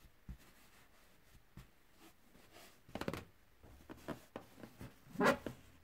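A large inflated light-blue latex balloon with white polka dots, hollow and air-filled, rests on carpet while one hand steadies it and the other brushes and rubs its surface with a soft makeup brush with a white handle. Quiet, soft swishing strokes come in short bursts over a hushed background, with a brief hollow rubbing squeak standing out louder near the end.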